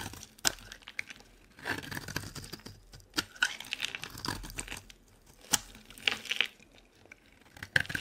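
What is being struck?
Soap bar cut with a metal blade.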